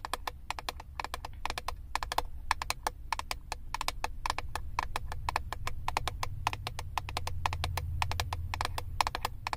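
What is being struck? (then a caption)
Plastic eyeshadow palette lid. Long acrylic nails tap rapidly on the clear plastic lid of a flat plastic eyeshadow palette. The result is a steady stream of sharp, dry clicks with a midrange tone around 870 Hz, each dying away almost instantly, over a low, continuous rumble.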